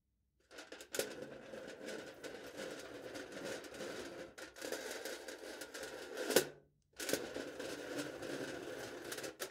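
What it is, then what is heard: Aluminium foil stretched over a plastic cup, scratched with a knife tip. A kitchen knife tip scratches and presses lines into thin aluminium foil stretched tightly over the top of a hollow clear plastic cup held in one hand. The result is a steady, papery scratching and crinkling with a hollow, cupped midrange ring, broken by a louder sharp scrape just before a brief pause. The scratching then resumes and runs to the end.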